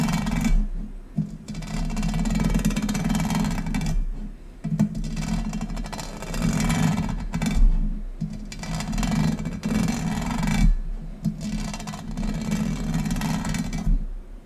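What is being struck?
Thin textured metal tray.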